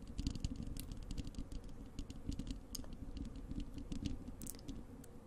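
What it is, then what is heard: Metal mesh microphone grille. Long acrylic nails on both hands scratch and tap the bare, hollow wire-mesh metal grille of a large desktop microphone. The result is a dense, continuous patter of close, boomy low thuds and rustling scrapes, with quick, bright clicks scattered on top.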